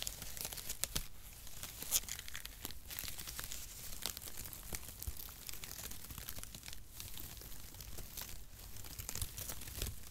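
Brown mesh-cut cardboard packaging shreds are crumpled in the fingers, then pulled apart into strips and swung in the hand. A dense, continuous stream of bright crinkling, crunching, and soft tearing crackles runs throughout, with sharp spikes over a steady papery hiss.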